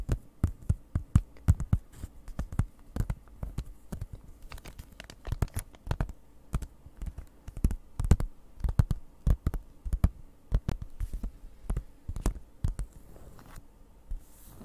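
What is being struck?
Cardboard package in clear plastic wrap.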